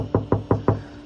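Four knocks land on the untreated, not-yet-soundproofed sheet metal door panel of a BMW 1 Series during a speaker upgrade. Each makes a short, hollow, low knock that rings briefly and sounds tinny. It contrasts with the soundproofed door, which sounds far more solid.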